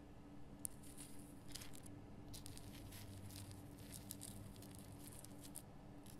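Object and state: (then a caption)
Himalayan rock salt lamp. Long fingernails scratch the rough crystal surface of a large pink Himalayan rock salt lamp, making quiet, bright, dry scratching bursts that come and go. A steady low hum sits underneath throughout.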